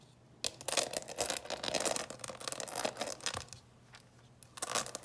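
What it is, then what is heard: Plastic candy box. Long nails scratch and tap across the closed lid of a clear plastic coffin-shaped box full of candies. After a brief quiet start, dense, bright scratchy rasping and light clicking taps run for several seconds, fade into a near-silent pause, then return in a final burst.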